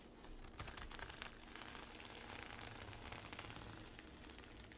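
Long pink nails scratch across a flat zippered pouch covered in reversible rainbow and silver sequins lying on a table, with the fingertips flipping the sequins. The result is a steady, dense, bright crinkling rustle full of tiny clicks, with soft low thumps underneath.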